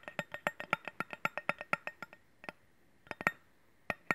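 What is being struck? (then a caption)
Stainless steel cleaver blade. Fingernails tap and scratch the flat surface of a solid stainless steel cleaver blade held horizontally. About twenty quick, bright metallic clicks ring around 1.9 kHz and die away almost at once. A steady run of taps slows and pauses, then a few scattered taps follow.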